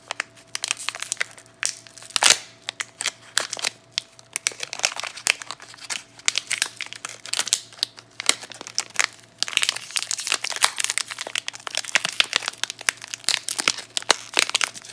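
A bar of Duru soap in a clear, crinkly plastic film wrapper with a paper label is squeezed and scratched by long nails and fingertips. It makes dense, bright crinkling and crackling with sharp, dry snaps that stop instantly. A steady low hum sits underneath.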